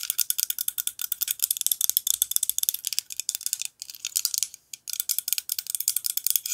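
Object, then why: Steel kitchen knife blade. A steel kitchen knife with a black handle is held in the hand while long nails tap and scratch its blade. The result is a rapid, dense stream of short, bright metallic ticks and scrapes with almost no low end. Two brief pauses come near the 3.7 and 4.7 second marks.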